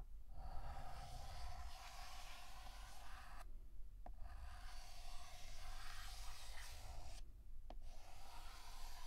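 Fingertips hold a stick of pink chalk and draw flower outlines on a flat, solid black chalkboard in long, raspy scratching strokes over a low, steady rumble. The scraping breaks off twice for a moment, and each pause ends with a short, sharp tap of the chalk before the next stroke begins.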